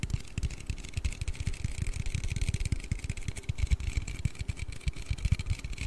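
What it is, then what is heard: Aluminium drink can. A hollow blue aluminium Red Bull drink can is tapped and scratched with fingertips and nails while being turned in the hands. A rapid, uneven series of dull, low, hollow thuds dies away almost instantly, under a faint bright scratching hiss.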